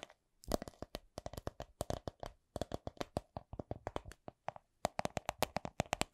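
A coin purse is tapped with quick, dry taps, about 40 in six seconds, each with a soft clicking attack and a faint hollow tone near 670 Hz. The taps come in an uneven rhythm, bunching closer together toward the end, with almost no ring after each one.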